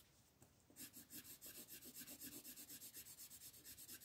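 A red wooden colored pencil rubs and scratches back and forth over a thin white coloring book page lying flat on a table, held down by the fingertips of one hand, to shade the ground. After a brief faint start, quiet, bright, raspy strokes settle into a steady rhythm of about four per second.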